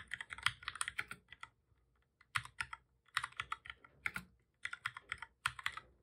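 Both hands type steadily with their fingertips on a full-size black plastic computer keyboard with a hollow body, resting on a desk. Quick bursts of crisp, bright key taps come one after another, with a short lull in the middle before the typing picks up again.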